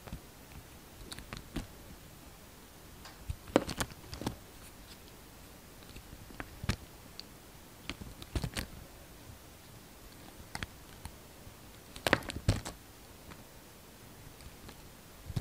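A hand-sized bar of solid translucent red glycerin soap, held in the palm, is shaved into thin strips with a utility-knife blade. Short, crisp scraping and cutting ticks come in scattered bursts over a quiet, steady background hiss, each cut snapping off quickly with no ring.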